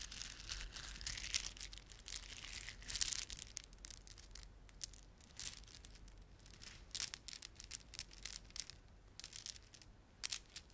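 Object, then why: Plastic beaded ornament. A plastic beaded ornament is rubbed and squeezed by fingertips, producing bright, crackling clicks and crinkly rustling. The sound comes in quiet, uneven bursts of rapid, dry ticks with no lingering ring.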